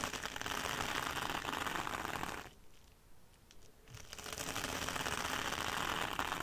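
Long dark red almond-shaped nails scratch and tap a small rectangular scouring sponge wrapped in red sparkly mesh fabric, lying on a dark glitter mat. Dense, bright, crackly scratching fills the clip, dropping to soft, sparse taps for about a second and a half midway before the steady scratching resumes.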